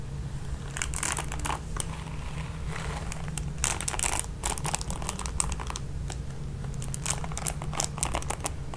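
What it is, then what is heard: Plastic paddle hairbrush with nylon bristles. Long pink nails repeatedly scratch and strum the nylon bristle pad of a red plastic paddle hairbrush. Bursts of bright, crinkly scratching rise and fall over a steady low hum, with the densest strumming in the middle and near the end.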